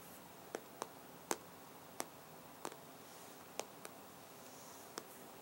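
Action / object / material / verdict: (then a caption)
tap / glass tablet touchscreen / glass / none. An iPad in a black case lies flat while its hard glass touchscreen on the solid device is tapped rapidly with the fingertips and short nails of both hands. Eight sharp, dry, bright clicks sound at irregular intervals, each stopping instantly with no ring, over a quiet, steady hiss.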